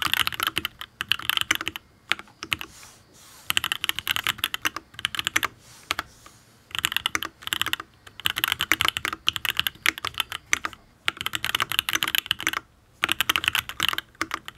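Fingertips type in quick bursts on a full-size custom Matrix Abelx Penpen mechanical keyboard with an aluminium case, ABS keycaps and Tealios V2 linear switches. Dense runs of short, bright, clacky keystrokes are broken by brief quiet pauses. Each press is crisp and dies away almost instantly, with very little low end.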